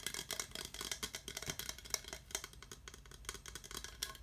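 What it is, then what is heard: Plastic skull mug. A translucent, hollow, empty skull-shaped plastic tankard mug with a handle, glowing orange under UV light, is held in both hands and tapped and scratched with fingertips and nails. The result is a quiet, fast, continuous run of bright, dry clicks and scratchy rattles that stop almost instantly, with very little low end.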